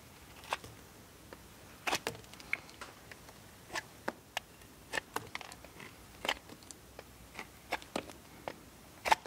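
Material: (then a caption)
Soap. A steel multitool knife scrapes shavings off a solid blue bar of soap held in the hand. A series of short, dry, crisp scrapes and cuts rises out of quiet gaps, each carrying bright, crackly high content with almost no low end and no ring.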